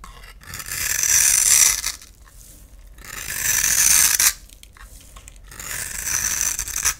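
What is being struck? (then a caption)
Soap bar scraped with a knife blade. A utility knife blade scrapes a solid rectangular white bar of soap held in the palm, shaving it into fine powdery shavings. Three long, bright, hissy scraping strokes rise and fall, with quiet pauses between them.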